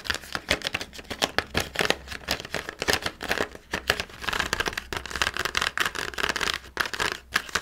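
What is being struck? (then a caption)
Plastic blister pack on cardboard backing. A small handheld Halloween pumpkin carving kit, with red plastic tools sealed in a clear plastic blister on an orange cardboard backing card, is tapped and scratched with fingertips and nails on the blister. Rapid, bright, crinkly plastic clicks mix with scratchy rustling, each tap dying away almost instantly.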